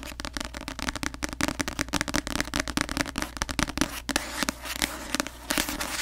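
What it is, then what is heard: Paperback book. Long acrylic nails tap fast on the glossy paper front cover of a paperback novel, *The Cruel Prince*, held upright in both hands in front of the mic. The rapid taps make a dense run of crisp, bright clicks on the solid paper block, each one dry and dying away almost instantly.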